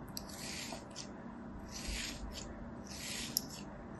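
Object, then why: Kinetic sand ball scored with a thin metal blade. A thin metal blade scores and scratches lines into a hand-sized solid ball of beige kinetic sand held in one hand, cutting a crosshatch pattern into its surface. Soft, bright scraping strokes swell and fade over a low, steady background, with a few brief sharp ticks.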